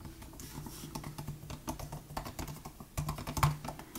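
Both hands type steadily with their fingertips on the plastic butterfly keys of a 2018 MacBook Air laptop keyboard. The result is a quick run of short, soft clicks and taps over a low, steady hum.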